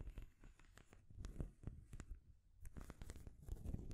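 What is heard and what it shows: Long grey nails scratch and tap along the edges of a painted wooden stacking ring toy, with solid painted wooden rings stacked on a peg and a wooden ball top. Soft, dry scratching runs throughout, broken by many quick, short clicks that die away almost instantly, with most of the sound sitting low and muted.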